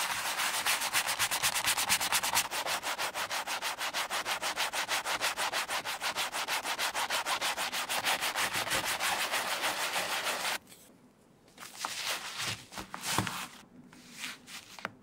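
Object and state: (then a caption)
Leather wallet being scrubbed. A wooden-handled horsehair brush scrubs soap lather into the open light-blue leather interior, with its card slots, of a vintage Gucci sima wallet. It makes a steady, bright, hissing scrub of rapid back-and-forth strokes, about three per second, for roughly ten seconds. Then it drops to quiet, with a few scattered softer brushing and rubbing sounds.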